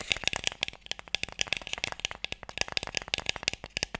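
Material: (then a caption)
Wood. Fingertips and nails tap quickly on a closed, light, hollow wooden Mikado box with sticks inside. A rapid, uneven run of dry, bright clicks follows, each one sharp and short with almost no ring, centred around 2.6 kHz with little low end.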